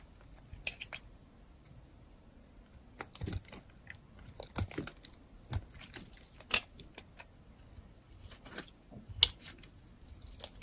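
A metal blade carves thin slices from the face of a solid, dry, hand-sized blue-and-white striped bar soap. Each cut gives a short, crisp, bright scrape or crunch with a soft low thump, in an irregular series against a quiet background.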